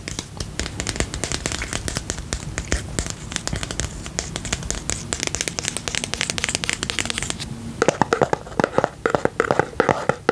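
Fingertips and nails tap and scratch the sides and lid of a small round pink and purple plastic tub with a lid, filled with slime and held close to the mic. Rapid, dry clicks and scratchy rustling with bright edges run throughout, then turn into louder, sharper, more hollow-sounding taps near the end.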